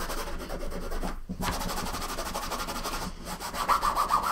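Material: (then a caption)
Nylon fabric. A green microfiber cloth held in the fingers rubs and wipes back and forth across the top of a large, closed, hollow soft-sided suitcase made of blue nylon fabric, lying flat on a wooden table. The result is a steady, soft, scratchy swishing with a quick rhythmic stroke texture, broken by brief pauses. Toward the end it grows slightly louder with a brighter, rasping edge.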